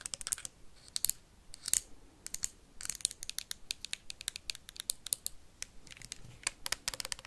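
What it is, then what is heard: Plastic hand sanitizer bottle. Paperclips worn on the fingertips rapidly tap and scratch a labeled plastic hand sanitizer bottle with a white cap. The result is a fast, uneven stream of sharp, bright clicks and crisp scratches with almost no ring and little low end.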